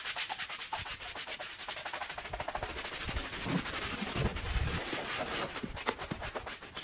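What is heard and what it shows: A handheld bristle brush scrubs a small, wet, fringed woven rug with a red and green pattern and foam on one end. Rapid, steady back-and-forth strokes make a continuous bright, scratchy rasp with a wet, swishing texture and a few duller low thumps partway through.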